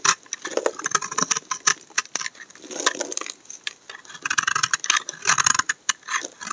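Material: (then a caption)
Soap. A utility knife blade scrapes curled shavings off the edge of a solid tan brown laundry soap bar held in hand. The result is a rapid series of short, dry, crisp scraping strokes, bright and papery with almost no low end. Each stroke cuts off quickly with no ring.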